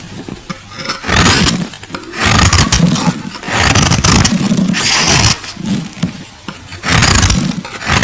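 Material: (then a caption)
Glycerin soap. A metal box-cutter blade shaves the edges of a solid, translucent purple glycerin soap bar, making rough, gritty scraping strokes. Several long, loud passes rise and fall with brief quieter gaps between them. Each stroke carries a low, rumbling body under a bright, hissing edge.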